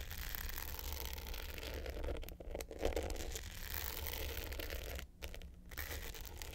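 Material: Glitter coating.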